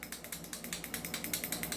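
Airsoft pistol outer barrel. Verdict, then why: Loose. A non-upgraded airsoft pistol with a loose outer barrel is shaken, producing about 18 quick, bright clicking rattles in a steady rhythm. The rattle shows the outer barrel is loose and not as it should be.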